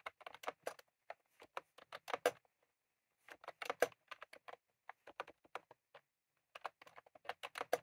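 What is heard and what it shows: Both hands type rapidly with fingertips on a full-size retro-style plastic mechanical keyboard with round cream plastic keycaps and a plastic case, resting on a desk. Bright, short clicky keystrokes come in three quick bursts of about 32 taps, separated by brief silent pauses.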